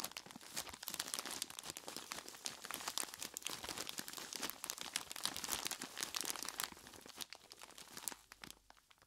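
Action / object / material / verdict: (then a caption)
shake / plastic bag of ice cubes / plastic, ice / none. Hands in knobbly rubber monster gloves grab and squeeze a large clear plastic bag full of ice cubes. The result is dense, bright crinkling of the plastic and crunching of the ice, with sharp crackles packed closely together, thinning out and growing quieter near the end.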